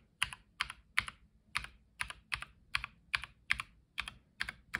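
A black-gloved fingertip presses individual keys, one after another, across the number and letter rows of a white tenkeyless Logitech Lightspeed G715 mechanical keyboard with plastic keycaps. Each press gives a bright, dry plastic clack followed by a softer tick, and the sound dies away almost instantly. About a dozen of these keystrokes land at slightly uneven intervals, a little over one per second.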